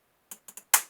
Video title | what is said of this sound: Test bille d'acier sur les aciers trempé (étau aliexpress) | ça fait un bruit plus clair